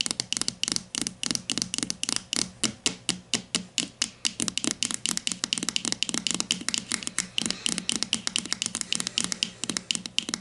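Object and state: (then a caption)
Plastic deodorant stick. A grey plastic Dove deodorant stick, its hollow casing likely filled with product, lies on its side on a table and is tapped and scratched with long matte nails. About 58 quick, dry, bright clicks follow in a steady, rapid rhythm, each dying away almost instantly, with a light scratchy texture between them and very little low end.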